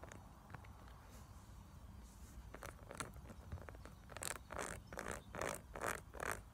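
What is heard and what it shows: Long acrylic nails scratch and tap across a small, flat, pink silicone makeup brush-cleaning pad with textured ridges and bumps, held in the hand. Faint, sparse ticks and scrapes in the first few seconds give way to louder, denser bursts of bright scratching over the bumpy surface toward the end.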